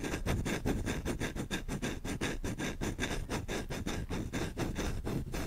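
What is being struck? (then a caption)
Wooden spoon. A solid wooden spoon is held by the handle while a thumb and short-nailed fingers scratch its bowl fast. The result is a steady stream of rapid, dry rasping strokes with a low, woody body and a bright scratchy edge.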